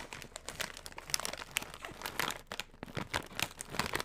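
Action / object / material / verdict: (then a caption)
scrape / metallized plastic snack bag / metallized plastic / none. A hollow, flexible yellow metallized plastic foil snack chip bag is crumpled, crinkled and rubbed with the fingertips of both hands close to the mic. The result is a dense run of sharp, bright crackles and crinkles in irregular bursts, with almost no low end and no ring after each crackle.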